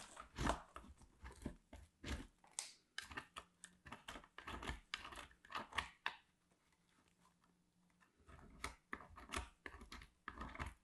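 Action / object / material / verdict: scrape / soap bar on a steel grater / soap / none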